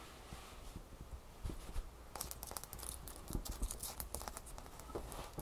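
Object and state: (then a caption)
Ice cube. A single small, solid, clear ice cube held in one hand over a towel is tapped and scratched with long manicured fingernails. Quiet, irregular clicks and crisp scratchy crackles build into a faster, busier stretch of tapping and scraping in the second half.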